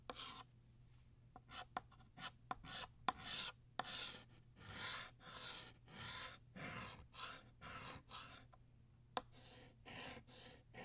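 Blue chalk is drawn across a flat black chalkboard, retracing the outline of a ribbon's tail in scratchy writing strokes. Bright, dry chalk scrapes come in short, irregular bursts with quiet gaps between them, plus a faint steady low hum underneath.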